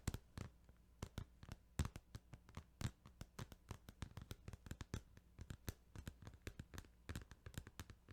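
Fingertips tap on a plastic Final Fantasy 8 video game case in a quick, irregular run of about forty short, dry clicks. Each click is sharp and broadband and dies away almost instantly, over a faint, steady low hum.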